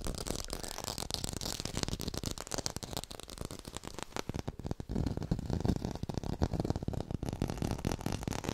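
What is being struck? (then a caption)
Artificial tomato, plastic or foam. An artificial red tomato is fast-tapped with long pink nails close to the microphone. The result is a dense, rapid stream of short, dull ticks and rattles, heavy in the low end with a little bright click on top. The tapping grows somewhat louder and fuller in the second half.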